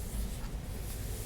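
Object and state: Nothing is struck.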